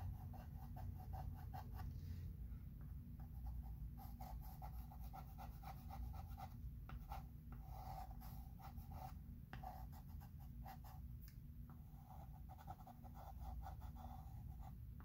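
A chalk pencil is scratched across a medium, flat, solid chalkboard in a thin wooden frame in writing strokes. Quiet, steady scratching and rubbing runs throughout over a low rumble, with faint bursts of scraping tone as each stroke is drawn.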